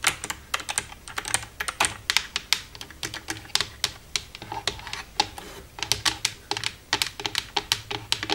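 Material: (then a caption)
Plastic. Long red-painted nails tap and type with both hands across the keys of a black plastic desktop computer keyboard with a hollow casing. About forty quick, bright plastic clicks land in an uneven stream, each dying away almost instantly, with a clattery tone centered around 2 kHz and little low end.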